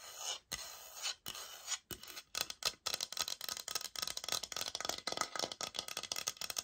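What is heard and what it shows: Long nails scratch and tap the textured face of a thin, solid oak-pattern laminate floor sample board with a white product label on the corner, held up in both hands. A few longer, hissy scrapes open the clip, followed by dense, rapid scratching and crisp taps, all bright and high-pitched with almost no low end.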